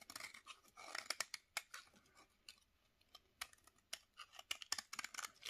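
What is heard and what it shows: A utility knife blade, held in a gloved hand, scrapes thin curls off the edge of a solid bar of dry yellow soap over a plate of shavings. Each stroke gives a crisp, dry, high scratching crackle. The strokes come in quick bursts separated by brief quiet pauses.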